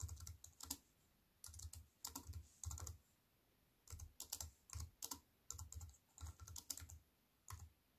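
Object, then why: Slim keyboard with plastic keys in an aluminium frame. Two hands with long white nails type on a slim wireless keyboard with plastic keys in an aluminium frame. The typing comes in quick bursts separated by short pauses. Each keystroke gives a soft low thump with a bright, crisp click that dies away at once.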